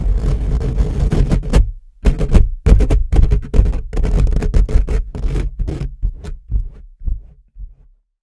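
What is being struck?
Steel mesh microphone grille.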